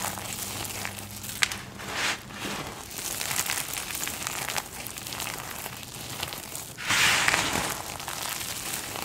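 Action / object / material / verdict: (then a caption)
scrape / pile of dry soap flakes and chips / soap / none. Both bare hands press, rub and scrunch their fingertips through a large heap of small multicolored dry soap flakes and chips, solid crumbly pieces piled on a dark surface. A steady, bright crunching and crinkling runs throughout, with sharp crackles and very little low end. A louder, denser burst of crunching comes near the end.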